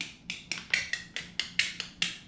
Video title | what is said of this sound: Cucumber Chips - Pickle Canning Recipe | So, if they have that kind of hollow sound, that means they're sealed. If it sounds like a thud, then it's probably not sealed.